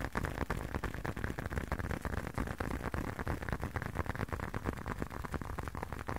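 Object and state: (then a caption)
Leather wallet. A closed, hand-sized blue leather long wallet is tapped rapidly with the fingertips. The result is a steady, slightly uneven stream of soft, muffled taps, mostly low and dull with little brightness, each dying away almost at once.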